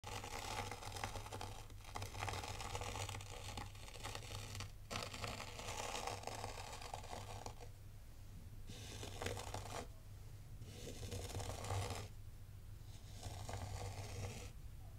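A small black metal or plastic zen-garden rake is dragged through a shallow tray of fine, loose white sand, scraping grooves into the granular surface. It makes bright, gritty, crunchy scraping strokes in bursts separated by brief pauses, over a steady low hum.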